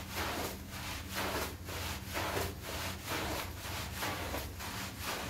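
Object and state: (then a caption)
Wool pile rug being scrubbed. A small, flat, wet woven wool pile rug on a tile floor is scrubbed back and forth with a long-handled plastic-bristle broom. Steady, broad, scratchy rubbing strokes repeat about once per second over a constant low hum. The sound is continuous, with no silence between strokes.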